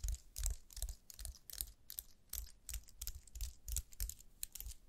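A slim white wireless computer keyboard with plastic keys, held in gloved hands, is tapped and typed on with long nails and fingertips. Quick, uneven clicks come in bursts, each pairing a bright, sharp tick with a soft low thump and almost no ring.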